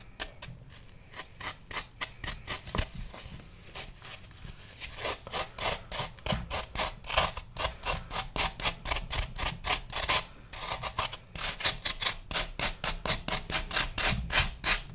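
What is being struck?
Floral foam block.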